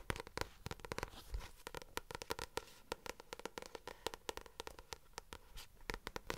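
Long nails and fingertips tap the glossy card front cover of a paperback novel held upright near the mic. The taps come as rapid, dry clicks with bright, crisp attacks and almost no ring, in an irregular, dense rhythm over a faint background hiss.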